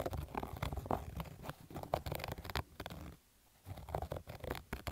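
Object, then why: Cotton baseball cap. Fingernails scratch over the embroidered logo and stitched fabric of a black cotton baseball cap. The rough, dense scratching has a low, muffled body and comes in quick bursts, with a brief near-silent pause just past three seconds before it resumes.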